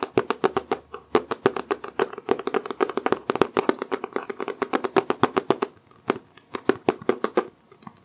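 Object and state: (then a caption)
Hardcover book. A medium-sized solid hardcover book with a dark green cloth-textured cover is held upright in both hands and tapped on the cover with short-nailed fingertips. About fifty quick, dry taps sound in a busy, uneven rhythm, each with a hollow knock centred near 395 Hz and a light bright click that dies away almost instantly. The taps thin out and slow over the last couple of seconds.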